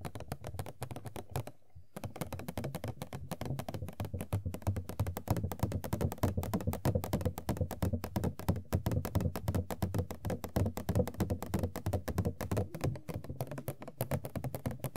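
Long nails tap rapidly across the top and edges of an empty, hollow printed cardboard Funko Pop box (Sailor Jupiter) with an open window area. The taps come in an irregular, steady stream of dull, low, hollow thunks with a short decay, broken by a brief pause near the start.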